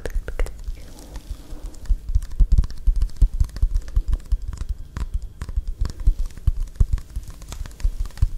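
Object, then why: Small plastic drink bottle with a plastic cap and label. Long acrylic nails tap and scratch along the body of a small, full-looking plastic bottle of Caffè Latte iced coffee with a blue plastic cap and a paper/film label. The result is a quick, uneven run of short, dull taps mixed with soft scratching, with deep low thuds and brief bright clicks.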